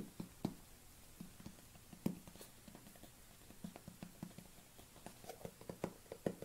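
A white plastic supplement tub is held in both hands while fingernails tap and patter on its side and lid. The quiet, dry, irregular taps are short and hollow, with a low-mid body and little ring.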